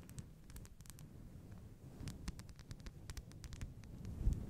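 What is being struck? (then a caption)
Faux fur microphone windscreen. Long blue nails scratch and rub over a fist-sized grey-white faux fur microphone windscreen. The result is a soft, muffled, low rumbling rustle dotted with quick, bright scratchy ticks, swelling slightly louder near the end.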